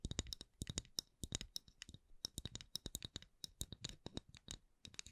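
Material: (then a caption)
Wood. A round candle lid of solid thin wood is tapped and scratched with long nails in an uneven stream of about thirty quick, dry taps. Each tap has a bright, high click and a soft low thump and stops at once with no ring, all at a quiet level.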